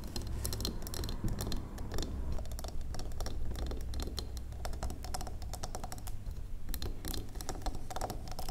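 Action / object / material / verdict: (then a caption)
tap / solid wax pillar candle / wax / none. Long acrylic nails on both hands tap quickly across the top and sides of a large, square, solid wax pillar candle. The result is a dense, uneven patter of short, dry, bright clicks that die away almost instantly, over a steady low hum.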